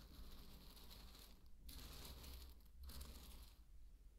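A thin wooden stick is dragged and poked through dry pearl barley grains, making a quiet, continuous grainy rustle and crunch with a bright, hissy edge over a steady low rumble. The bright rustling briefly drops out twice before resuming and fading toward the end.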